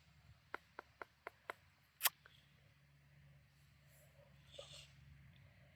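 A freshly picked watermelon, sold as the yellow-fleshed 'Queen Yellow' variety, is tapped six times to judge whether it is ripe: five light, dry knocks in quick succession, then one louder, sharper tap, each short and bright with almost no ring. When cut open it proves ripe but not yellow, and its rind is not as it should be.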